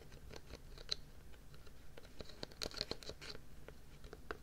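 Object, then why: Plastic tub with lid. A white plastic tub with a red printed lid is held on its side close to the microphone while fingernails scratch and tap across the lid and rim. The result is a quiet run of dry, scratchy clicks and light taps with short, high, bright ticks and almost no ring. The tub sounds hollow, though its fill level isn't visible.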